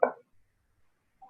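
Percussion of the chest over the lung, tapping the intercostal spaces along the midclavicular line, produces a short, hollow, mid-pitched thud that fades within about a fifth of a second, with a fainter tap near the end. This is the normal resonant note expected over air-filled lung.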